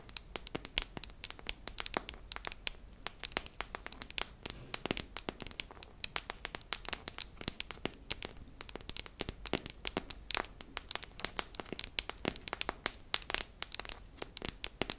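A hollow silver metal tin with a red lid is held up and tapped and scratched with long nails along its ridged side. The result is a steady stream of rapid, bright clicks and scratchy crackles that stop short with almost no ring, over a faint low hum.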